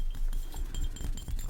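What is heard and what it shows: The bottom of a glass cologne bottle, a Next L'Homme dupe of Le Mal, is tapped repeatedly, giving dull low thuds with faint glassy clinks that die away quickly. The bottom is tapped because the sides of the bottle make little noise.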